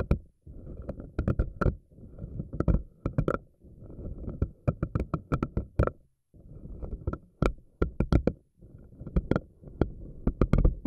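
Fingernails stretch and pluck the rubbery strands of a pink silicone spiky anemone ball. Low, rubbery squishing and rumbling comes in several bursts separated by brief silences, each punctuated by sharp, bright snapping clicks as the strands flick free.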